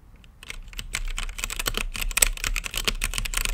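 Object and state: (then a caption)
Mechanical keyboard typing. Fingertips type steadily on a mechanical keyboard with plastic keycaps and a clear acrylic lit case, after a brief quiet start. A fast run of sharp, bright plastic clacks follows, each dying away almost instantly, with a faint low hum underneath.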